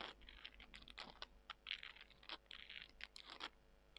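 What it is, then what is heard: Dry soy chunks being scratched. Long nails scratch and squeeze small, dry soy chunks, producing a quiet run of short, bright crunches and crackles. The sharp snaps come in uneven bursts over a soft, scratchy rustle, with little low end and almost no ring after each crunch.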